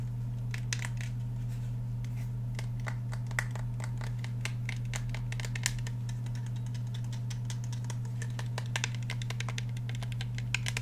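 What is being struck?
Handgun with polymer frame and steel slide.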